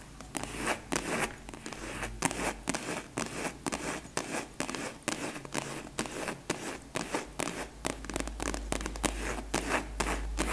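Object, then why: Faux leather hard case. A long, flat, closed purple hard case covered in faux leather is held horizontally and tapped and scratched with long nails. Sharp, quick clicks land in a steady run, with scratchy rasps between them. Each tap sounds hollow and dies out almost at once.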